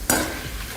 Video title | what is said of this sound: फणसाचे खुसखुशीत तळलेले गरे - Raw Jackfruit Chips Recipe -Crunchy Homemade Chips - Supriya Kitchen | तुम्हाला आवाजून लक्षात येत असेल छान असे कुरकुरीत पण झालेत